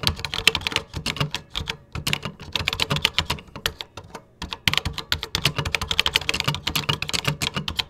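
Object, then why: Plastic computer keyboard. Fingertips type on a vintage 1980s computer keyboard with cream plastic keycaps. Quick, bright, dry key clicks come in bursts with a soft low thump under each press, and there is a brief pause near the middle before the typing resumes.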